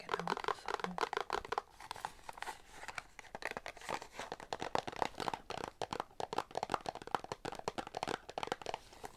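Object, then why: Small paperboard box holding a bar of soap. A small paperboard Irish Spring bar-soap box with a soap bar inside is held in both hands and tapped and scratched with long nails. Rapid, dry, crisp taps and papery scratches cluster in quick bursts, each stopping short with no ring.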